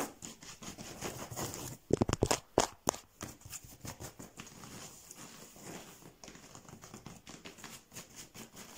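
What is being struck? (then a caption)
Woven rush chair seat. Fingertips and short nails scratch and tap across a chair seat woven from twisted rush or paper cord in a diamond pattern, stretched flat, firm and taut over an open frame. A dry, crinkly rasping patters along at a quick, uneven pace, with a cluster of sharper, louder taps near the middle before it settles back into soft, bright scratching.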